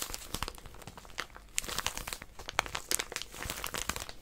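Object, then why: Plastic-wrapped paper packet. A small white plastic-wrapped paper packet is held in both hands while long nails grip and scratch it. The result is a steady stream of dense, bright crinkling and crackling with sharp scratchy ticks and little low end.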